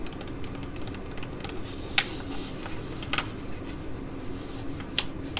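Long nails tap and scratch a filled white foil-laminate sheet mask pouch while it is crinkled in the hands. Soft, irregular crinkling and scratching run throughout, punctuated by a few sharper, brighter taps, over a steady low background hum.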